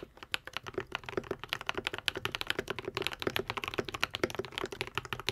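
A modded white and pink 75% Epomaker TH80 mechanical keyboard with Akko V3 Cream Yellow switches and plastic keycaps is typed on continuously with the fingertips of both hands. About 36 quick, crisp keystrokes come in a steady stream, each a short, bright clack with a low thock near 400 Hz and almost no ring. The result is a fast, even typing rhythm with little low-end weight.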